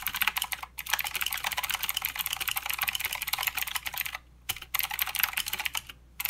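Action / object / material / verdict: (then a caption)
tap / mechanical keyboard with plastic keycaps / plastic / none. Both hands type with their fingertips on a full-size mechanical keyboard with plastic keycaps and blue clicky switches. The result is a fast, steady stream of sharp, bright clicks with very little low end. Brief pauses come just before the one-second mark, around four seconds, and near the end.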